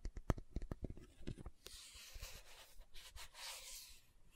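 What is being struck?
Plastic jar with lid.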